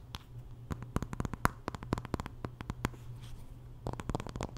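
Long nails scratch along the wooden back and handle of a solid wooden paddle hairbrush held horizontally. The result is a quick, uneven run of short, dry scratching clicks with a bright edge, over a steady low hum.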